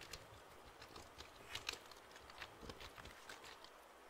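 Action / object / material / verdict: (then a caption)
tap / plastic computer keyboard / plastic / none. Fingertips tap and press the keys of a black plastic computer keyboard held upright near the microphone. The result is a quiet, irregular patter of short, bright clicks over a soft hiss, each tap dying away almost instantly.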